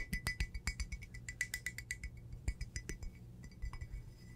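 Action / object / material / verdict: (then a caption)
tap / glazed ceramic teacup / ceramic / none. An empty, hollow red glazed ceramic teacup with a painted pattern, held in one hand, is tapped rapidly on its outside and rim with long blue acrylic nails. About two dozen quick, irregular clinks ring out, each a bright, glassy ping pitched near 2 kHz that dies away almost at once. A low, steady rumble sits underneath.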